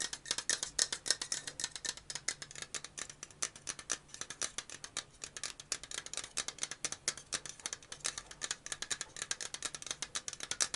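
A hand-sized black and purple metal aerosol deodorant can with a plastic cap is tapped and scratched with fingernails along its body. The result is a fast, continuous run of sharp, bright ticks and scrapes that stop almost instantly and carry almost no low end.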